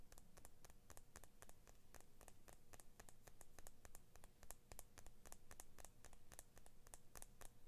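Fingernails scratch and tap along the steel blade of a small pair of children's scissors with orange and blue plastic handles, held in the other hand, while a large metal ring on the scratching hand may add clicks. A rapid, steady stream of short, bright ticks and scrapes sits over a quiet, constant low hum.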